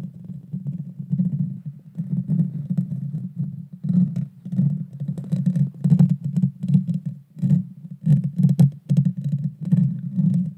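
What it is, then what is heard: Metal microphone grille scratched. Long dark fingernails of both hands scratch the hollow metal mesh grille of a Blue Yeti Nano microphone. It makes a dense, booming low rumble in uneven bursts, with faint bright ticks and crackles scattered through it.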